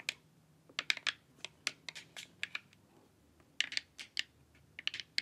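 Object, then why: Plastic LED face mask. Long nails tap along the edges and forehead of a glossy, hollow plastic LED face mask. About 18 quick, bright, clicky taps come in irregular bursts with short pauses. Each tap dies away at once over a faint low hum.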